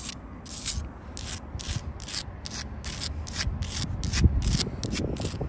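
Long blue acrylic nails scratch across the faces of rough sandstone blocks and the mortar joint of a solid wall. The result is a steady series of short, bright rasping strokes over a low, rumbling background.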